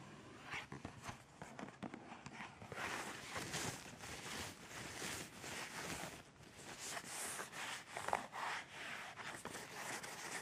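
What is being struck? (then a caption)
Cardboard tissue box. Long painted fingernails tap and scratch along the edge of a hollow, partly full rectangular cardboard tissue box with tissues poking out of the top opening. The sound is a steady run of soft, dry scratching and light tapping, mostly bright with little low end.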